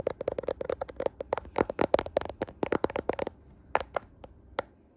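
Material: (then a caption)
Glass. Fingernails tap and scratch the rear camera area of a handheld smartphone with a glass back, metal frame and camera lenses. About two dozen short, dry clicks with a hard midrange tone come in a rapid, uneven run, mixed with faint scratching. The taps thin out into a few isolated clicks near the end.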